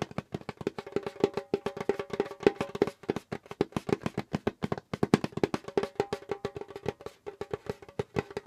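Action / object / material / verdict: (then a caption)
tap / djembe drum skin head / animal skin / none. A pale djembe drum's skin head is tapped rapidly with the fingertips of both hands, making dense, dry, woody taps that die away almost instantly. The taps carry a steady pitch near 400 Hz and come in quick, uneven flurries throughout, with a brief pause just before the five-second mark.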